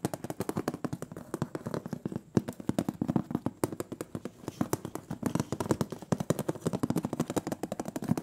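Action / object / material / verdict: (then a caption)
tap / metal cookie tin lid / thin metal / none. Fingernails tap rapidly on the printed metal lid of a large, round, closed butter cookie tin. The result is a dense, steady stream of sharp, short clicks with a hollow low-mid body and almost no ring after each tap.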